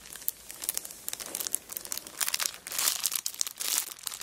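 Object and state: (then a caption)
Plastic-wrapped paper notebook crinkled. Both hands press and rub a cellophane-wrapped kraft paper notebook lying flat on a rug, while long black nails scratch and crinkle the plastic wrapper. The result is a steady stream of bright, crackling crinkles with sharp ticks and scratchy swells and almost no low end.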